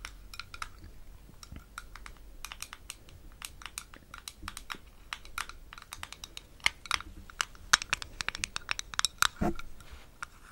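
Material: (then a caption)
Metal. A small, round metal Vaseline lip balm tin with a green lid is held closed near the mic and tapped rapidly with long acrylic nails. The taps are quick, sharp and bright clicks with a light metallic tone that dies away almost instantly. They come in an irregular, steady patter that grows louder toward the end.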